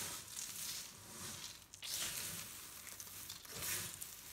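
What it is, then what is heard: Dry soap shavings. A spread-out pile of dry pastel soap flakes is pressed with flat palms, squeezed in fists and raked with fingertips. This gives a continuous, bright, dry crunching and crinkling with little low end. It swells and fades in uneven surges.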